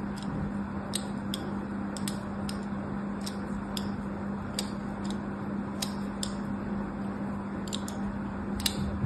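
A solid rectangular pink bar of soap, held in one hand with long orange nails, is scratched repeatedly with a thin metal needle-like tool. Short, dry, bright scratching ticks recur through the clip over a steady low hum and soft background noise.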